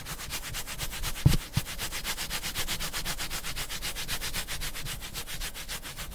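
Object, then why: Hardcover book with cardboard cover. Fingertips and nails rub and scratch in quick, steady strokes across the dark cardboard-covered cover and spine of a large, thick hardcover Berserk deluxe manga with a solid paper page block, held close to the microphone. Two soft taps thump out near the start, then the rhythmic, papery scratching continues evenly to the end.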